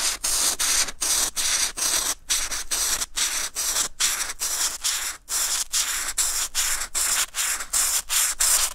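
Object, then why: Textured watercolour paper. A brush-tip marker rubs back and forth over a flat sheet of white textured watercolor paper, filling in a red patch. About 27 quick strokes, roughly two per second, make a bright, raspy scratching, each broken by a brief gap. The sound is mostly high and has little low end.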